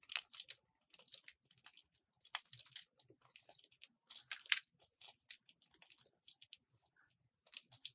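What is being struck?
Bar of soap cut with a metal blade.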